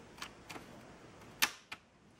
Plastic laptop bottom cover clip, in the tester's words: tap it gently and it's going to snap in ... you hear that noise that it's like Snapped in already